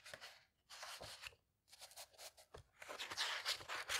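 Fingertips with painted nails turn the thick printed paper pages of a vintage hardcover fairy tale book lying open, flipping and rubbing them. Bright, dry papery rustles come in bursts separated by brief quiet gaps, growing louder and denser toward the end.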